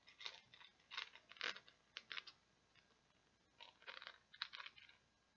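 Long nails scratch and tap across the pegs of a small, round, flat, solid green plastic peg board. Quiet, bright, dry scratching bursts come in uneven clusters with short gaps between them. Each burst is crisp with almost no ring and no low end.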